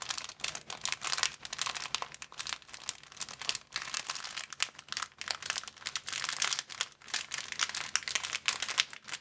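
An empty, hand-sized clear plastic bag of thin transparent film is held and crumpled between fingertips and palms. It makes dense, bright crinkling that comes in rapid bursts with brief dips, with almost nothing in the low end and no lingering ring.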